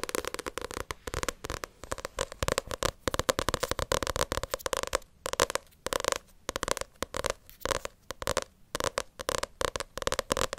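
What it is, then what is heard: Paperback book cover tapped with nails. Long acrylic nails tap and scratch the glossy front cover of a paperback Naruto manga volume. Rapid, dry clicking taps come in dense bursts alongside scratchy swipes, with a hollow midrange tone near 520 Hz and a bright, papery hiss. Each tap dies away almost instantly.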